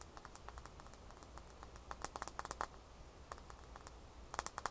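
A small solid ice cube, first lying in the palm and then held in the fingers, is tapped and scratched with long fingernails. Quick, dry, bright clicks come in irregular bursts, with louder clusters near the middle and the end. They sit over a quiet low hum, and each tap dies away almost at once.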